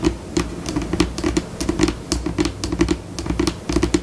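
Long pink acrylic nail tips from both hands tap rapidly, typing-like, and scratch across a flat, solid, white glossy laminate tabletop. The result is a busy stream of short, dry clicks with a low hollow knock near 340 Hz, bright ticking edges and very little ring, broken by soft scratching between the taps.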